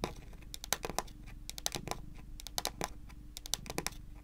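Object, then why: Wooden tabletop. Long pointed nails rapidly tap a solid, dark wood-grain tabletop, making about twenty short, sharp, bright clicks in quick, uneven bursts. Each tap dies away almost instantly over a quiet, faint low background.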